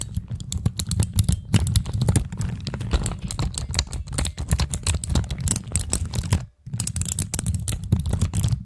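Long acrylic nails rapidly tap, press and click the keys of a pastel plastic keycap fidget cube on a black stand, using both hands. The result is a dense, continuous run of short, sharp plastic clicks and clacks over a steady low rumble. There is a brief pause near the end before the clicking resumes.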